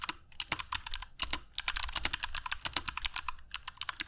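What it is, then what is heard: Mechanical keyboard with PBT plastic keycaps. A compact black mechanical keyboard with dark PBT plastic keycaps and Kailh Box Jade switches, resting on a cork desk mat, is typed on continuously with the fingertips of both hands. The result is a rapid, uneven stream of crisp, bright clicks that stop almost instantly, with brief pauses between bursts and only a light low thud under each keystroke.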